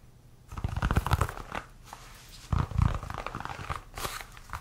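A solid white leather baseball is held in the hands and tapped and scratched with fingernails. Dull, low thuds come in bursts mixed with dry scratching and rubbing, with a brief quiet pause between the two main bursts.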